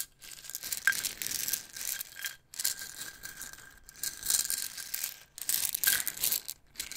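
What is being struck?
Plastic jar of wooden toothpicks.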